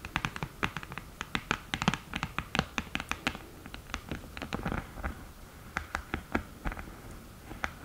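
Long nails tap and scratch on the mirror and lid edge of an open, flat cream cardboard eyeshadow palette. Quick, dry clicks come in irregular bursts, bright and short with almost no ring, and soft scratching runs between them.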